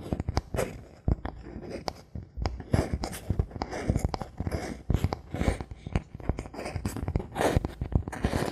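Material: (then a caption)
Bamboo. A thin, solid bamboo board held in the hands is tapped and scratched with fingertips and nails. Quick, dry taps with almost no ring mix with rustling, scraping strokes, and the sound stays dull and low-heavy throughout.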